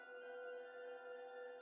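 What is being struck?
Nothing is struck.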